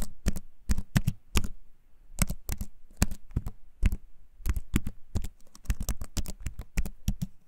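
A compact keyboard with a wooden frame and plastic keys, held up close, is typed on with the fingertips, giving rapid, clicky taps in irregular bursts. Each keystroke is short and dry, with a low thump and a bright click on top.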